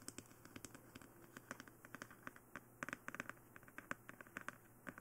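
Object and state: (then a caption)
Plastic dummy head tapped with nails. Long nails tap and scratch across the face and head of a glossy black, hollow plastic dummy head microphone. A quiet, uneven stream of quick, dry clicks with a hollow plastic tone near 1.5 kHz is heard, each dying away almost instantly, with faint scratching between the taps.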